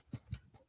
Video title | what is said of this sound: Jibber Jabber with Terry Gee about his new Youtube Channel | You hear that dunk, dunk, dunk. Same as a damper, guys. You kind of very know it's hollow.